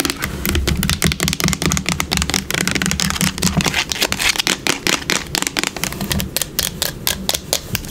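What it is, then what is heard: Plastic bottle tapped and scratched with nails. A yellow plastic hair product bottle, lying on its side and held in the hands, is tapped and scratched rapidly by long nails across its body and label. The result is a dense stream of quick, crisp clicks and scratchy rasps over a hollow, low body resonance.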